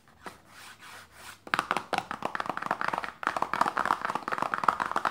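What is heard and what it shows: Long painted nails tap and lightly scratch a small, closed, hollow printed paperboard lotion box resting on fabric. A soft, quiet scratching opens the clip, then rapid, dry, hollow taps with a mid-pitched papery knock follow, pause briefly, and resume in a fast run. Each tap dies away almost at once.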